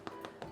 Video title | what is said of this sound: No Knead Bread - Store Cupboard Recipes | that's nice and Hollow and that basically means that your bread is now cooked through